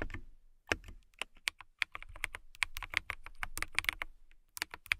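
Long nails type on a clear acrylic mechanical keyboard with transparent keycaps, producing a steady run of quick, bright clicks with a sharp peak around 2.4 kHz. Each keystroke stops almost instantly, with a little low thud underneath.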